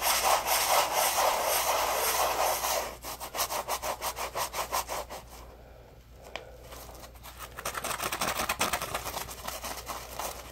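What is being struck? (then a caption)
Polymer foam sponge. Fingertips rub and scratch a palm-sized yellow porous polymer foam Scrub Daddy puppy scrub sponge held in both hands. A steady, dense, bright scratching opens the clip, then gives way to quick rhythmic rasping strokes about twice a second. The strokes fade to a soft lull and return louder near the end.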